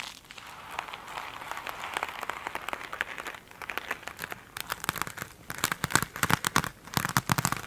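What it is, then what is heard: Glitter-coated foam sponge. Long pointed acrylic nails scratch and tap across the glittery, scrubby top of one small rectangular foam sponge lying on a table. A steady, soft crinkling scratch fills the first half, then gives way to sharper, brighter rapid clicks and taps that grow louder toward the end.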